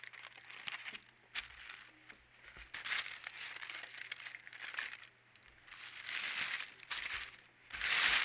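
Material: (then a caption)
Paper. A large, thin, translucent white sheet of baking or closet paper lies flat on a dark table while both palms and fingertips rub and slide across it. Bright, dry crinkling and rustling swells and fades in bursts, with a steady low hum underneath.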